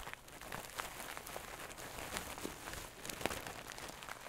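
A medium soft stuffed pillow with a shiny gold satin cover is held close and scratched with long nails. The result is a steady, quiet, dry scratching and rustling texture with brief bright crackles scattered throughout.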